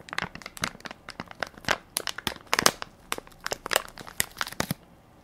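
A hand-sized Equate baby wipes soft pack of crinkly plastic film, full of wipes, is held in one palm while fingertips and nails press and crinkle the film. A quick, irregular run of sharp, dry, bright crinkles and crackles follows, with almost no low end. Each crackle stops short with no ring.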